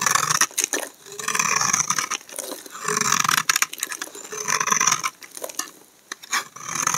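A solid tan household laundry soap bar, held in hand, is shaved with a utility knife blade into flaky shavings. Repeated dry, bright scraping strokes rasp and crackle in bursts, with short pauses between passes.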